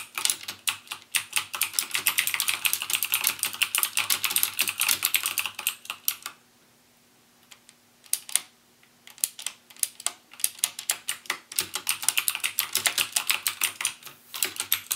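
Fingertips type rapidly on a backlit mechanical keyboard with plastic keycaps and Cherry MX Blue switches, producing a dense stream of sharp, bright clicks. The typing stops for about three seconds in the middle, broken by a few isolated key presses, then resumes at the same fast pace. A faint steady low hum sits underneath.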